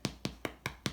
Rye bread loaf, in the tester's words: You hear that? The dog's gonna start barking, thinking someone's knocking on the door.